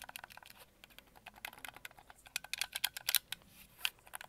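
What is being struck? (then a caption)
Plastic game controller shell. A white and red hollow plastic Xbox controller is turned in the hands while fingertips and nails tap and scratch its shell and grips. Quick, dry, bright clicks and light scratches come in an uneven stream, growing louder and sharper toward the middle of the clip. There is almost no low end and no ring after each tap.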